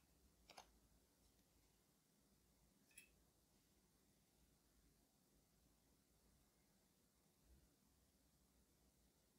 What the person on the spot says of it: 0:00 Cardboard box and tapping